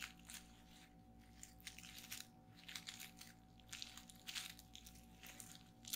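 Fingertips with long painted nails press and pop the air-filled bubbles of a flat sheet of clear plastic bubble wrap resting on a table. Rapid bursts of bright, crackly pops and crunches come in clusters, each snap dying away almost instantly. A faint, steady low hum runs underneath.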